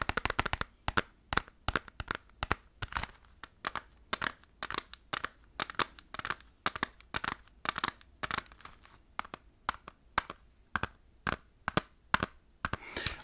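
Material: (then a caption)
Plastic. Fast tapping on the plastic PlayStation 1 case of Resident Evil Director's Cut, in a round against a PlayStation 2 case that is judged only by preference. Sharp, dry clicks come in quick bursts with short gaps throughout, each tap bright with almost no ring.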